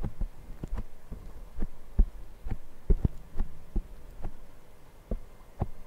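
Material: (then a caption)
Foam. Fingertips of both hands tap and scratch the small, soft black foam windscreen on a Zoom recorder's microphone. About nine deep, muffled thumps land at an uneven pace, almost all of their energy below 200 Hz with no ring. Quieter soft rustling and scratching fill the gaps between them.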